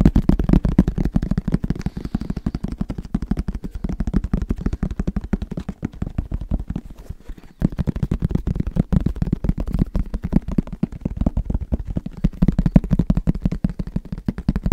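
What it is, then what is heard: Fabric-covered hard headphone case. Fingertips tap rapidly on the fabric-covered shell of a medium-sized black, semi-rigid, hollow headphone case held in both hands. The result is a dense, continuous stream of short, dull, low thuds with almost no ring or high-end brightness. The tapping eases to a softer, sparser stretch around the middle, then picks back up at full intensity.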